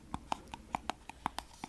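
A small metal tin of body butter is tapped as an ASMR trigger. Eleven quick, dry taps follow in an uneven rhythm, each a short, bright click centred near 890 Hz that dies away almost at once.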